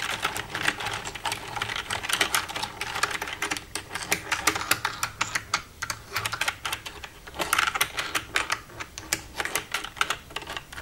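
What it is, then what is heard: Plastic computer keyboard. Long red-painted nails tap and type across the keys of a black plastic desktop computer keyboard with a hollow casing, using both hands. A steady stream of quick, sharp clicks with bright, crisp highs and almost no low end, each tap dying away instantly, with brief pauses between bursts.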